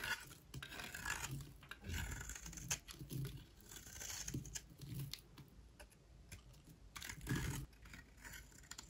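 A solid white rectangular bar of dry soap is held in the hand and scraped with a utility knife blade. Bursts of dry, crumbly scraping strokes carry a bright, hissy edge over a soft low rumble, each scrape stopping almost at once with little ring.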